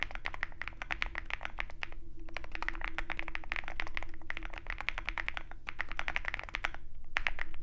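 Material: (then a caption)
Plastic, metal. A Zoom65 65% mechanical keyboard with white MT3 PBT keycaps on a dark aluminum case, resting on a desk mat with a wooden wrist rest, is typed on continuously with the fingertips of both hands. Dense, irregular runs of short, bright clicky keystrokes with a clear mid-high tone sound over a steady low hum, broken by a couple of brief pauses.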